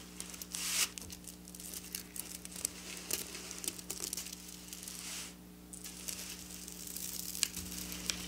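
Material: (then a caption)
Plastic sequins. Long black nail tips scratch across the rows of a silver sequin fabric in close-up. The result is a continuous, bright, crinkly rasping with quick clicky spikes over a faint steady low hum.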